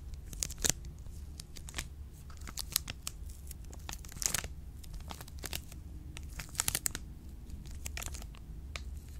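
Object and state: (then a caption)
Plastic-wrapped chocolate bar. A full milk chocolate bar in an orange plastic wrapper is scratched and tapped by long pink nails. Sharp, crinkly clicks and scratches come in irregular bursts over a steady low hum.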